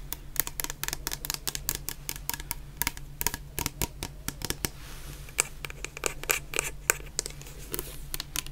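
A medium clear plastic bottle, full of orange shower gel and topped with a white cap, is tapped with long painted nails. Quick, bright, dry clicks come in rapid, uneven bursts over a steady low hum, with a brief lull partway through before the tapping resumes.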